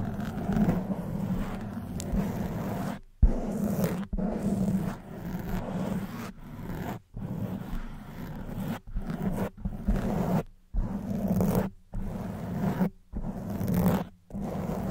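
Long white almond-shaped nails scratch across a hollow black foam microphone windscreen in close-up, making a dense, muffled rasping scrape weighted toward low tones. The scratching comes in bursts separated by brief silent gaps.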